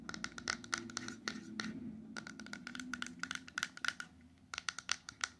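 A small, closed, hollow silver-coated cardboard ring box with a ring inside is held in the hand and rapidly tapped on its sides and edges with long acrylic nails. The result is a quick run of short, dry clicking taps with a bright edge and a faint tone around 1.4 kHz, over a soft scratchy background.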